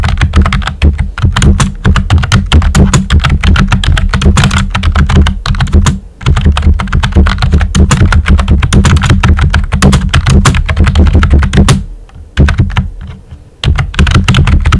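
Fingertips with short nails type steadily on a pink and white plastic computer keyboard with round typewriter-style keycaps and hollow keys. Dense, rapid clacks carry a strong low thud beneath them. The typing pauses briefly a few times before resuming.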